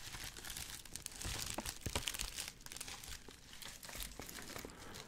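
A white, medium-size padded plastic bubble mailer with a dimpled surface is held in both hands. Fingertips grip and rub it while the hollow, flexible envelope is flexed and shaken. The result is a steady, bright crinkling made of many quick crackles, with a few louder crunches near the middle.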